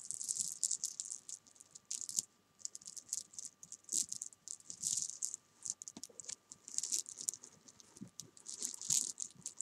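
Small solid jelly bean candies on a sofa are tapped and rolled under fingertips and long nails, making a rapid, dry patter of tiny high clicks and rattles. The bursts come in quick clusters separated by brief pauses. Each click is bright and dies away almost instantly, with no low-end body.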